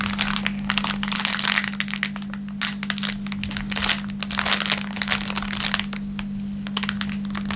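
An empty, thin clear plastic film packaging bag is crinkled and stretched between the fingertips of both hands. It makes dense, bright crackling and rustling bursts that rise and fall in waves, over a steady low hum near 200 Hz.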